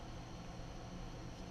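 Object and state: Nothing is struck.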